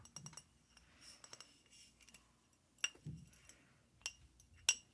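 A glass whiskey bottle is tapped and scratched, giving quiet, bright glassy clinks with brief ringing. The light taps and soft scraping come at irregular intervals, with the sharpest clinks near the end.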